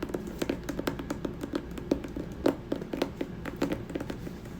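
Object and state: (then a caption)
Hardcover book tapped with fingers. Fingers tap rapidly on the cover of the hardcover poetry book "The Rose That Grew from Concrete." Dense, dull, short taps with a low woody thump around 280 Hz die away almost at once, with a few louder taps standing out from the steady patter.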